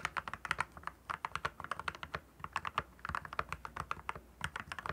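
Fingertips type continuously on a compact, backlit mechanical keyboard with clear plastic keycaps. The result is a steady run of short, crisp clicks and clacks with a bright edge, each key dying away almost at once.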